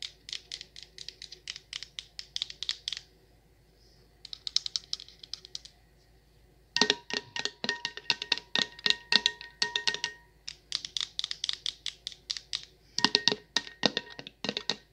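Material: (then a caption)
Metal, glass. Long acrylic nails tap and scratch the perforated silver metal lid of a medium glass jar candle full of wax, making dozens of rapid, bright, dry clicks that stop in brief pauses. After about seven seconds the tapping grows louder, and a faint metallic ringing tone hums beneath the clicks.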